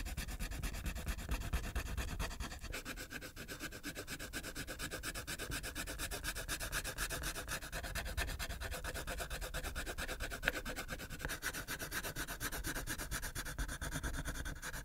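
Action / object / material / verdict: scrape / wax crayon on a paper sheet over a clipboard / paper, wax / none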